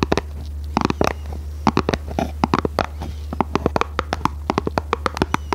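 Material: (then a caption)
Cardboard. Long red nails tap and scratch a small, hollow, red printed cardboard box held in both hands. Dozens of quick, dry, papery taps fall in irregular bursts with faint scratching between them. A steady low hum runs underneath throughout.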